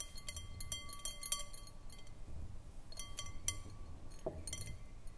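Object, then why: Glass bowl. Long nails tap the sides of an empty, hollow, clear round glass bowl on a short foot, making quick, bright clinks in an irregular rhythm. Each tap is sharp and dies away fast, leaving a faint glassy ring over a low, quiet background.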